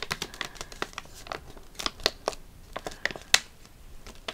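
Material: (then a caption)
Foil laminate. A flat foil-laminate eye mask sachet is held up, crinkled and tapped with long nails. About fifteen sharp, bright crinkling clicks and taps come at an uneven pace, each dying away almost at once, over a soft crackling rustle.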